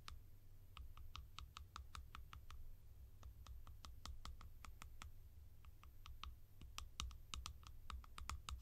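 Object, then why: Plastic lids. Fingers tap on a collection of plastic lids, producing a rapid, steady series of short, dry clicks with a bright, crisp edge that die away almost instantly. A constant low hum sits underneath the taps throughout.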